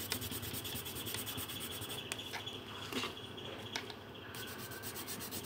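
A pink pencil is rubbed over a thin paper colouring sheet lying on a table in continuous colouring strokes. It makes a steady, dry, scratchy rubbing with bright, hissy grain and a rapid pulse of short strokes that eases briefly before picking up again.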